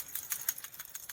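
A new PCV valve for a Mazda 2.0L Skyactiv engine is shaken, producing a quick series of light, bright clicking rattles that are mostly high-pitched. The clear rattle shows the internal check valve moves freely, which is normal for the new valve.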